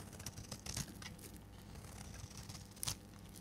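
A solid oval purple bar of dry soap, held in the hand, is shaved into flakes with a metal blade. Quiet, crunchy scraping and cutting ticks run throughout, with two louder, brighter crackling bursts near the start and end over a steady low hum.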